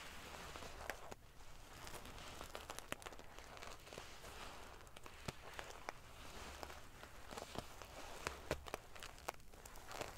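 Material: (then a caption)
Metal sequins. Long painted fingernails scratch and ruffle a large decorative pillow covered in rows of small silver metal sequins sewn onto fabric. A soft, steady crackling rustle of shifting metal pieces is broken by scattered sharp, bright clicks and ticks.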